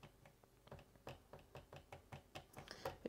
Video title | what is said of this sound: Đánh giá Laptop MSI GE60 2PC APACHE | if I just tap it it kind of like rattles within this section here